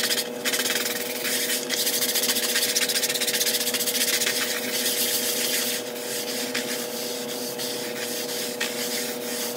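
A handheld stiff-bristle plastic scrub brush scrubs a large, flat, grey patterned synthetic woven area rug that lies damp on a tile floor. Rapid, rough back-and-forth strokes make a bright, hissing, scratchy sound over a steady mid-pitched hum. The scrubbing is louder for the first six seconds, then continues a little softer.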